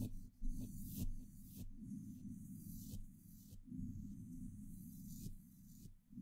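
A small paintbrush brushes and scratches the top, side and front of a hollow woven metal mesh microphone grille. The result is a close, muffled low rumble with repeated scratchy strokes, each carrying a brief bright hiss.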